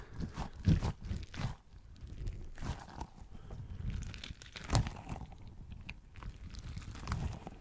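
A small, pink, soft squishy rubber pineapple toy is squeezed in the hand and tapped with fingertips close to the mic. It makes a run of soft, dull, squishy taps and crunchy squeezes that are mostly low in tone and die away quickly. A few sharper taps stand out from the quieter rustling between them.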